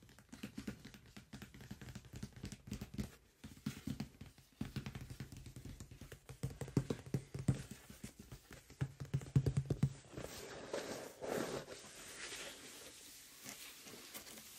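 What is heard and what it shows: Fingertips and nails tap and scratch the top of a large, printed cardboard microphone box that lies flat, closed and holding its contents, with a small metal object resting untouched on top. For about ten seconds there is a quick, irregular run of dull, low, hollow taps with very short decay. It then gives way to softer, brighter scratching and rubbing.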